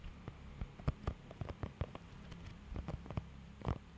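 Fingertips scratch and tap across the raised nubs of a thin, flexible blue rubber pet hair grooming glove held close to the microphone. About 17 soft, dull taps and scratches sound, each quick and low with almost no ring, over a quiet background hiss.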